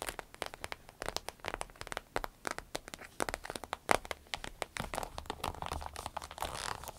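Long red nails tap, scratch and crinkle a small green-yellow striped glossy vinyl zippered pouch that is soft and hollow. A quick, uneven stream of sharp crinkly taps and scratchy rustles sits mostly in the mids around 800 Hz with bright edges. Each tap dies away almost at once, with a denser crinkling patch near the end.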